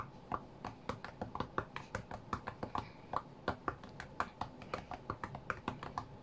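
Fingertips of both hands tap the glass touchscreen of a flat white iPad tablet while playing a rhythm game, making around thirty quick, dry, clicky taps in an uneven rhythm. Each tap is short with almost no ring, centred in the low-mid range around 1 kHz, with faint low background noise between taps.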